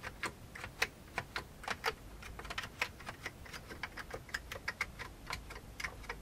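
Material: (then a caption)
Plastic. Fingertips of one hand type on a full-size vintage beige plastic computer keyboard. There is a steady, uneven run of short, dry, bright clicks that stop almost instantly, over a faint low background hum.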